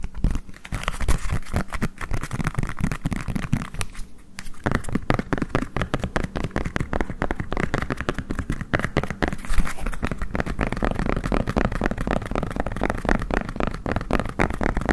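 A green collapsible silicone bowl with a darker rim, hollow and empty, is held close to a microphone while fingertips rapidly tap and scratch its flat base. Dense, fast, dull thuds and scratchy crinkling run continuously, with most energy low and deep and little bright content. There is a brief quieter pause near the four-second mark.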